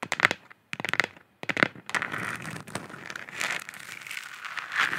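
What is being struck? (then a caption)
Hollow plastic lamp sphere. Long nails tap and scratch a hollow plastic moon lamp sphere held in both hands. Clusters of sharp, bright clicking taps come first, separated by brief silences, with a faint ringing tone around 1.5 kHz. These give way to a steady, crinkly scraping that swells and fades, all thin and light with almost no low end.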